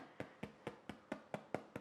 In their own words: If you tap the base of your loaf and it sounds hollow, that is a way to know whether or not your loaf is baked.